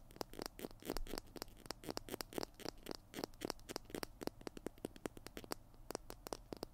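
Fingernails scratch the label and plastic body of a small white plastic PiT glue stick held in both hands. The result is a rapid, irregular series of short, dry scratching clicks with bright edges over a faint, low background hum.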